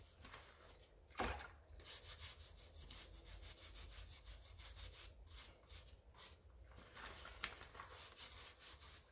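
A wooden-handled brush scrubs the wet white rubber/foam sole of a pink tennis shoe held sole-up in a gloved hand. Repeated bristly back-and-forth strokes make bright, hissing swishes over a low rumble, with a sharper scrape near the start.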